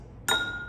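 A glass drinking glass is struck once, giving a clear, bright clink with a sustained ring around 1.4 kHz. The glass oscillates and pushes on the surrounding air, and the tone fades away as the vibration weakens.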